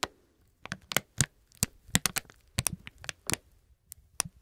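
Gloved fingers crinkle and rub a small, hollow, partly filled plastic "Peppermint" gum pouch. About fifteen sharp, bright crackles snap out in quick, uneven bursts with brief quiet gaps between them, each dying away almost at once.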